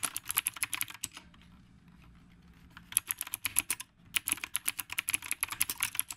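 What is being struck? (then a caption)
Mechanical keyboard with round plastic keycaps. Fast fingertip typing on the round plastic keycaps of a retro typewriter-style mechanical keyboard produces bursts of sharp, bright clicks. A brief pause with only faint low background noise separates the bursts, and each click dies away almost instantly.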